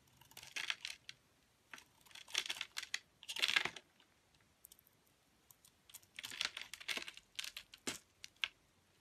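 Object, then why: Bar of soap. A metal utility blade shaves and scrapes the dark blue coating off a solid oval Lux bar soap held in the hand, peeling the coating away from the white soap beneath in thin curls. Dry, crisp, bright scraping strokes come in short clustered bursts with quiet gaps between them, and each stroke dies away almost at once.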